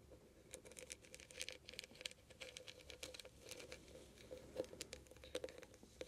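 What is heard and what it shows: Long painted nails scratch and tap fast on a small, hollow, heart-shaped metal trinket box with glittery mesh sides and a bead-studded lid. A quick, quiet patter of bright clicks and scratchy rustling plays throughout, with a faint metallic ring near 500 Hz. Each tap dies away almost at once.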